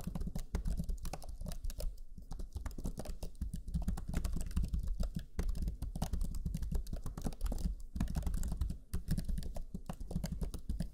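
Fingertips of both hands type rapidly on the black chiclet keyboard of a Lenovo Legion 5 laptop, its low-profile plastic keys giving quick, soft taps. The key presses run in a steady, dense stream of short, dull clicks with a muffled low-end thump and almost no ring, pausing only briefly.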